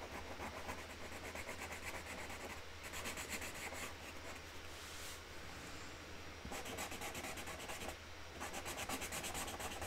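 A hand rubs a pink Sharpie marker over a flower petal drawn on a flat cardboard box lid resting on a table, making continuous colouring strokes. A steady, dry scratching and rubbing texture with bright, hissy edges comes in rhythmic bursts over a faint constant low hum.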